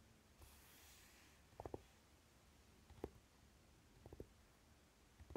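Fingernails and fingertips of both hands tap and scratch the lid of a closed Naked eyeshadow palette with a dark velvety cover, lying on fabric. A soft, faint scratching hiss is followed by quiet clusters of dull, muted taps with a low-mid knock and almost no ring, spaced irregularly across the clip.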